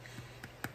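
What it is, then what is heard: Hollow-sounding unsealed canning jar lid. A metal lid on a glass canning jar of freshly processed, still-hot bruschetta is tapped a few times, giving short, dull, hollow-sounding clicks. The hollow sound means the lid has not yet sealed, because the jar hasn't cooled enough to form its vacuum.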